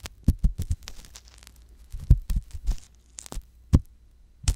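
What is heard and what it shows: The thin metal tip of a wooden ear pick scrapes inside the ear canal of a soft silicone ear mounted on a white box binaural microphone. It makes irregular, deep, muffled thumps and rubbing bursts with faint high crackles in between.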